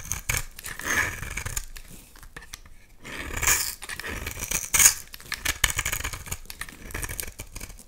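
A utility knife blade is drawn across the surface of a solid oval bar of blue soap held in one hand, shaving and carving it into flakes that drop onto a pile of soap shavings. Bright, crisp scraping and rasping strokes come in uneven bursts with short quiet gaps. The louder passes swell midway through and near the end.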